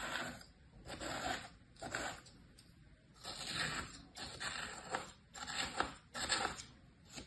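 A thin pointed tool scratches stripes into flattened kinetic sand shapes in a green plastic tray, with some fingertip contact. Soft, grainy scraping strokes come in repeated bursts with a bright, hissy texture and quiet pauses between them.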